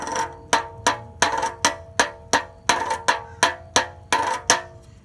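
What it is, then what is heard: Empty tin can tapped with a stick. A small, hollow, empty, open metal tin can with a yellow interior and a paper label is held in one hand and tapped repeatedly with a wooden stick. Each tap gives a bright, clanky metallic tone centred near 920 Hz with a cluster of overtones, decaying within about a tenth of a second. The taps come at a somewhat uneven, quick percussive pace.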